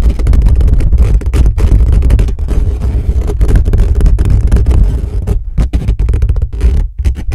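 Both hands rapidly scratch and tap with their fingertips on the bare metal mesh grille of a hollow black condenser microphone, sometimes pressing flat hands over the top. The result is a dense, fast, boomy rumble of scratches and thumps, almost all deep low end, with brief dropouts where the hands cover the grille.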